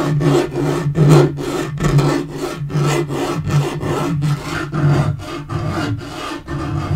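Short fingernails scratch and fingertips tap on a dark wood-grain laminate portable table top. The result is a steady, rhythmic series of raspy scratching strokes, about one per second, with a dull, low-heavy tone and little brightness.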